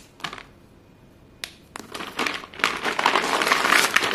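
A large pile of short, solid white chalk pieces on a blue surface is scooped and squeezed between chalk-dusted bare hands and fingers, the pieces grinding and crunching together. A few scattered dry crunches with quiet pauses build into dense, continuous, bright gritty crunching that grows louder toward the end, with almost no low end.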